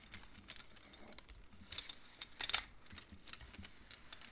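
Fingertips and nails push colored wooden beads along the metal rods of a large wooden-framed abacus. A quick, irregular series of light, dry clacks follows, each bright and very short with almost no ring, and a louder cluster comes near the middle.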